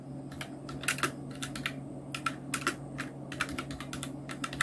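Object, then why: Plastic mechanical keyboard. Continuous two-handed fingertip typing on a full-size black Nubwo Illution NK-70 mechanical keyboard with Outemu red switches, round plastic keycaps and blue backlight. The result is a rapid, irregular run of short, bright plastic clacks that die away almost instantly, over a steady low hum.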